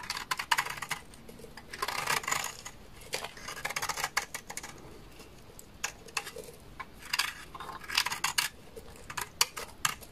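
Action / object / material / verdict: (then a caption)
scrape / laundry soap bar scraped with a knife blade / soap / none. A utility knife blade scrapes a large, solid, beige bar of dry laundry soap into flakes. Quick bursts of dry, crisp, bright scraping come in irregular runs, separated by short quiet pauses. Each stroke ends abruptly with almost no ring or low end.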